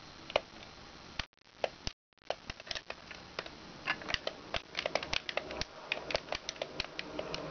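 Long red nails tap and scratch the body and raised shapes of a hollow yellow plastic giraffe push toy on wheels. Sharp, bright clicks land over a soft scratching hiss, with a brief drop to silence near the two-second mark before the rapid tapping resumes.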